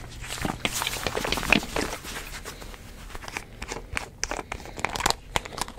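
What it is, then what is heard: Plastic drink bottle with screw cap. Fingertips twist, tap and rub the white plastic screw cap of a green-labelled plastic drink bottle while the other hand holds the bottle. The result is a dense, irregular run of dry, bright clicks, ticks and scratchy crinkling rubs, each snapping off almost instantly, with a quieter, softer stretch in the middle.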